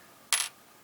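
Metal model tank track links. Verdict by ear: Plated.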